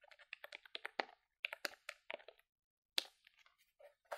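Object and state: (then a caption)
Plastic calculator keys tapped. A grey, hollow plastic desktop calculator with colored keys, held in the hand, is tapped rapidly by fingertips with long nails. Quick, bright plastic clicks come in uneven bursts with short gaps and no ringing.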